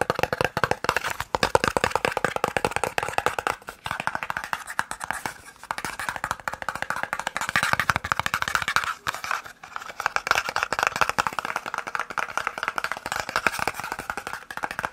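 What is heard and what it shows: A small, hollow white and red cardboard eye drops box is tapped quickly with the fingertips and nails. A continuous flurry of short, dry, hollow clicks sits mostly in the midrange around 500 Hz to 2 kHz, with brief pauses near 5.5 and 9 seconds. Each tap dies away almost instantly, with no ring.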